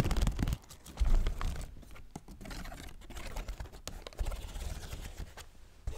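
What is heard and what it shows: A folding fan with a paper leaf and bamboo ribs, shown open and then closed, has its ribs tapped and clicked by fingertips and nails. The result is a dense run of soft, dull taps and sharp little clicks mixed with light papery scratching and crinkling. The sound is mostly low and thumpy, with brief bright edges on the clicks.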